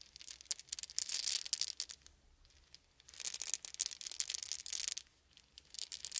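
Small solid wooden beads are shaken and poured between open cupped hands. The result is quiet, bright clicking and rattling in bursts, with brief pauses in between.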